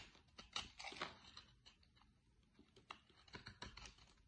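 A utility-knife blade digs into and shaves soap from a solid light green bar of soap. About a dozen quiet, crisp scraping and cutting scratches come at an irregular pace, bright and short with little low end.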